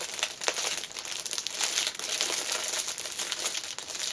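Fingertips with long nails press and rub the clear cellophane wrapper around a small black fabric pouch lying on a cushion. The result is steady, bright crinkling and crackling with no low end, made of dense, quick crackles that swell and fade throughout.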